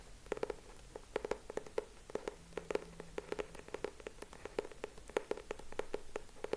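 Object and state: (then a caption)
Hardcover notebook cover tapped. Fingertips tap and scratch the purple cardboard cover and edges of a closed hardcover notebook held in both hands. The result is a quick, uneven run of short, dry, hollow-sounding taps centered around 430 Hz, with faint scratching between them. A soft low hum runs underneath partway through.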